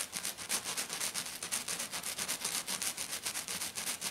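Long black nails on both hands scratch fast and hard across the rough surface of a flat, silver glitter-coated sheet lying on a table. The result is about 22 quick, bright, hissy scraping strokes in a steady rhythm of roughly four per second, with almost no low end and each stroke cutting off sharply.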